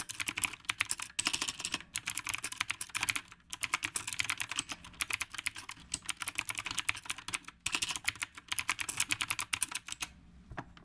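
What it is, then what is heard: Mechanical keyboard typing. Both hands type fast with their fingertips on a dark, retro typewriter-style mechanical keyboard with round plastic keycaps and a solid frame, with a phone resting on its stand. Rapid, crisp, bright clacking keystrokes come in quick bursts with short pauses, each click dying almost instantly. The typing stops shortly before the end, leaving near silence.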